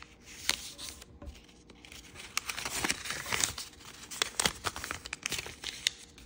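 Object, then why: Thin origami paper. Thin green and red patterned origami paper is folded and pressed flat with fingertips on a wooden table. Bright, crisp crinkling and rustling comes in uneven bursts, with sharp papery snaps as the creases are pressed down.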